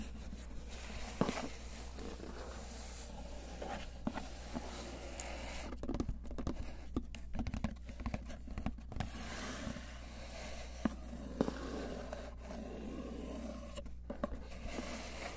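Fingertips and short nails tap and scratch the sides and top of a closed, medium-sized corrugated cardboard shipping box with labels, hollow and holding packed contents, resting on a table. Soft, dull taps and papery scratching come in uneven bursts over a steady low hum.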